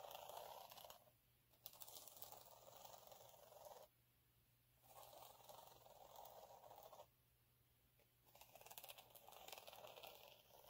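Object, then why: Glitter sheet. Fingernails scratch along the ribbed surface of a flat, fine gold glitter sheet resting on a dark cloth. Four bursts of dry, gritty scraping with a bright, hissy texture are separated by short quiet pauses.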